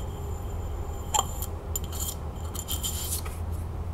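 Long nails scratch and tap a hollow frosted glass candle holder with red wax inside, held in the hand, working over the glass and its rim. Bright, raspy scratching strokes come in short bursts, with one sharper tap ringing briefly near the start. A low, steady hum runs underneath throughout.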